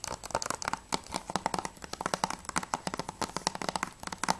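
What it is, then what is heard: Plastic game case tapped with nails. Long nails tap fast on the front cover of a closed, hollow plastic PS3 game case (Journey Collector's Edition). The result is a rapid, irregular stream of short, dry plastic clicks with a hollow mid-range ring near 900 Hz, bright tick edges and almost no low end.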